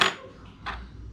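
Two taps on a new aluminium vlogging cage for a GoPro, testing whether it is really metal. Each tap gives a short, bright metallic tick with a quick ring around 1.2 kHz, the first louder than the second. The cage gives a metal sound.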